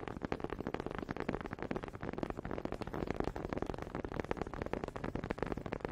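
Two small solid wooden honey dippers with grooved heads, held in both hands with long red nails, are knocked and rubbed together close up. The result is a steady stream of rapid, dry, clicky wooden taps with a warm midrange body and almost no ring, mixed with soft scraping from the grooves.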